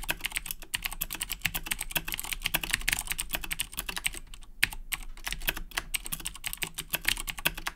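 Both hands type continuously with their fingertips on a black Razer BlackWidow 2010 Edition mechanical keyboard with Cherry MX Blue switches and plastic keycaps. The result is a rapid, steady stream of sharp, bright clicks that cut off almost at once, over a faint low hum. There is a brief lull just past the midpoint, ended by a louder keystroke.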